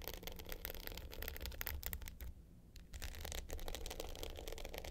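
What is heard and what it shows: Long pointed nails scratch the dark blue glitter top of a small, rectangular, hollow hard clutch with a gold metal frame, lying flat. The result is a dense run of quick, bright, crackly scrapes over a low rumble, with a brief quieter pause midway before the scratching resumes.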